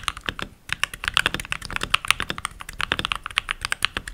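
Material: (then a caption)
Plastic. Fingertips with short nails, rings on the fingers, type continuously on a full-size backlit mechanical keyboard with pink plastic keycaps. The result is a rapid stream of sharp, bright clicky key presses with almost no ring, broken by a brief pause near the start.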